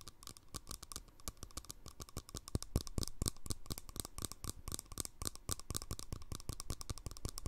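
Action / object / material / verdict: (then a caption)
tap / plastic jar lid on a small glass jar / plastic / none. Fingernails tap rapidly on the flat top of a green plastic lid screwed onto a small, empty glass jar held sideways. The result is a fast, uneven stream of short, dry clicks, each with a bright tick over a soft low knock. The taps die away at once with no ring.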